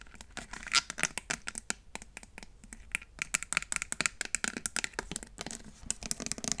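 Long nails tap and scratch the body and trigger head of a hollow, clear plastic trigger spray bottle. The result is a rapid series of sharp, bright plastic clicks mixed with crinkly scratching, mostly high-pitched, each hit dying away at once with no ring.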